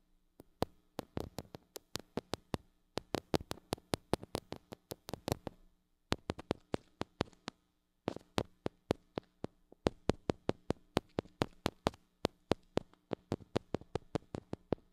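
Long acrylic nails tap quickly on the metal mesh grille of a small gold-colored mini microphone with a metal body and hollow head, held in one hand. The sharp, dry clicks come in fast rhythmic bursts separated by brief pauses, with a faint steady low hum underneath.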